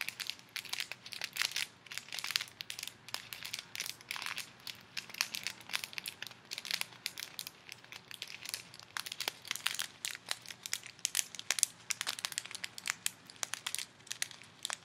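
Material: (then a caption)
Plastic, foam. A small clear plastic bag full of colorful foam beads is held in both hands while fingertips and long nails squeeze and crinkle it. A steady, dense stream of quiet, bright crinkles and crackling pops continues throughout, with sharp clicks standing out and almost no low end.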